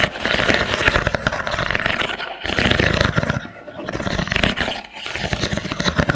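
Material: Wood.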